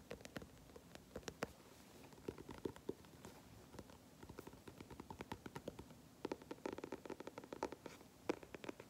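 Both hands scratch and tap the flat, dark grey stiff cardboard cover of a large spiral-bound sketchbook held upright, using short nails and fingertips. The result is quiet, dry, rapid scratching and clicking taps with a hollow mid-range body and almost no ring, coming in uneven clusters throughout.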